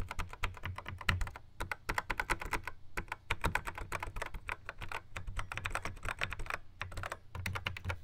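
Fingertips tap rapidly on the square pads of a Yamaha RX11 drum machine in a black plastic housing. The result is a dense, uneven stream of dry, keyboard-like plastic clicks, each with a dull low thump and a quick bright tick that dies away almost at once.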